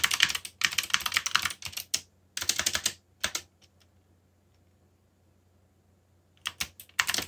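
Both hands type fast with their fingertips on a backlit mechanical keyboard with black plastic keycaps, producing rapid bursts of bright, sharp clicks that die away almost instantly. Typing runs in quick flurries for about three and a half seconds, stops for a near-silent pause of roughly three seconds, then resumes in brisk bursts to the end.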